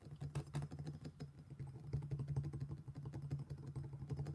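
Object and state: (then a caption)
Stone mortar and pestle. A black stone pestle held in one hand knocks and grinds inside an empty, thick-walled, hollow black stone mortar while the other hand steadies the bowl. Quick, uneven knocks land several times a second over a dull grinding scrape. The sound is heavy and low, with a hollow hum near 140 Hz and almost nothing bright.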